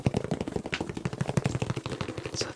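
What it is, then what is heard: Faux leather dress shoes. Fast tapping on a pair of new faux leather dress shoes produces a rapid, steady stream of dull, low thuds with very short decay. The material sounds like a mix between soft bag fabric and hiking-boot material.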